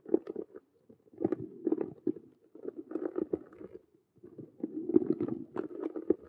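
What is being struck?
Vinyl and faux-leather cube handbag.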